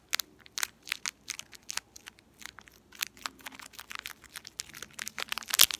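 A small, empty, purple shiny metallized foil-plastic candy wrapper with crimped ends is crinkled and rubbed between fingertips with long painted nails. It produces a steady run of short, sharp, bright crackles and rustles with no low end. The crackles grow denser and louder toward the end.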